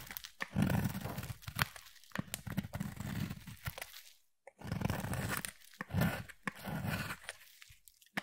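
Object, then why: Bar of soap. A utility knife blade shaves curls and flakes off a solid peach bar of soap. Dry, crunchy scraping strokes come in long bursts with brief gaps and a short silence in the middle, the sound weighted low with faint bright edges.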